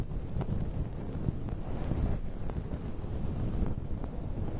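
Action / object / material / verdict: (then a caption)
scrape / synthetic fur microphone windscreen / synthetic fur / none. Fingertips with short painted nails scratch and rub through a soft, fluffy grey-and-white synthetic fur windscreen covering a microphone. The result is a continuous muffled, low rumbling rustle with almost no high end, broken by a few faint, brief scratchy ticks.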